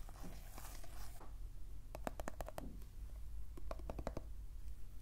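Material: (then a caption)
Plastic. A small round dark-brown cosmetic jar with a screw lid and teal label, likely plastic and probably full of cream, is held in one hand while the fingertips and short nails of the other scratch and tap its lid and sides. A second of soft, bright scratching is followed by two quick runs of crisp, hollow clicking taps. A steady low hum runs underneath throughout.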